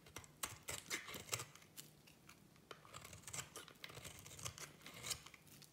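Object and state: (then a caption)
Soap bar being shaved into flakes. A solid orange striped soap bar is shaved with a small metal blade into crumbly flakes. Quick, dry, bright scraping and crackling cuts come in uneven bursts, with short crumbly snaps.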